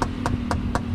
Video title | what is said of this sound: PAANO BUMILI NG SEGUNDA MANO NA OTO | Malalaman nyo naman kung orig, yung usually yung iba kinakatok-katok nila. Ayan yung tunog.